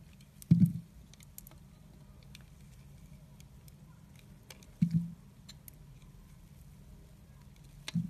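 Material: Soap.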